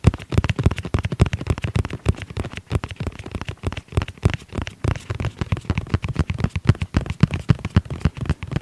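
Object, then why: Hard-shell zippered case. Fingertips tap rapidly on the flat face of a tablet-sized black hard-shell zippered case with a red edge while it is held and tilted. The taps are short, dull and low-pitched, coming in a fast, uneven patter with little ring.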